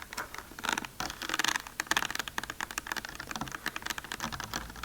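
Fast tapping and scratching along the ridged, bumpy sides of a plastic container produce a dense run of short, dry clicks and scrapes. The sound is bright and crisp, centered in the upper mids with little low end. Each tap dies away almost instantly.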